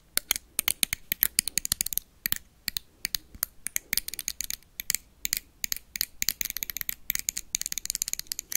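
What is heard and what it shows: A small glowing blue toy lightsaber, with a hollow plastic blade and a metal-look hilt, is tapped and scratched quickly with metal paperclips worn on the fingertips. Dozens of sharp, bright clicks and brief scratches come in rapid, uneven bursts, each ending almost instantly with no ring.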